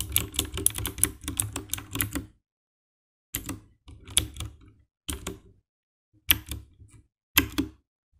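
Fingertips type on the keycaps of a compact 60% black plastic mechanical keyboard with RGB backlight, with the hands briefly at its edges. A rapid run of tapping key presses lasts about two seconds, then after a pause comes a series of shorter bursts. Each press is a short, dry clack with a bright click over a low thud.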